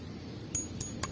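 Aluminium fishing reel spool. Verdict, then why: Ringing. A Katana Martis spinning reel's aluminium spool gives three bright metallic clinks, each with a brief high ring that decays quickly, over a low background hum. The spool rings fairly loudly, as an aluminium spool does, just like the earlier edition.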